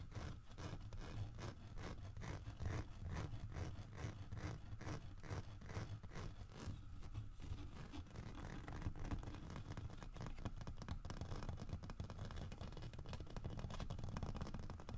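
Fingernails scratch and rub the deeply grooved carved fur on the back of a large, solid carved wooden bear figurine. The result is a steady stream of quick, dry scraping strokes with a low, muffled body beneath them. The strokes run continuously throughout and become denser in the second half.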